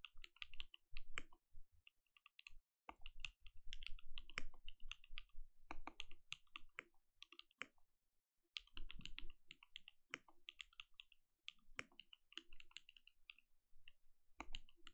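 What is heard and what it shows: Both hands type with their fingertips on a compact mechanical keyboard with plastic keycaps, producing bursts of quick, short clicks and clacks. The keystrokes carry a deep thock underneath a bright click, broken by brief pauses between typing runs.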